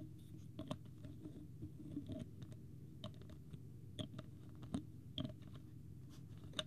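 Fingertips and nails tap on the white plastic screw cap of a small clear plastic water bottle with a green label, held up in one hand. Nine short, dry clicks ring out quietly and irregularly over a soft low background hum.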